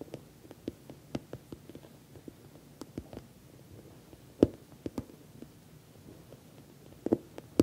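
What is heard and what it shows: Long nails tap the top edge and sides of a medium, glossy orange patent vinyl (PVC) cosmetic bag that is soft-sided, has a metal logo plate, and appears stuffed or filled. An irregular series of short, crisp taps and clicks sounds over a faint low hum, with a few sharper, louder taps standing out toward the middle and end.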